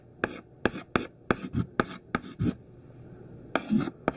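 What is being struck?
Chalk stick on a chalkboard.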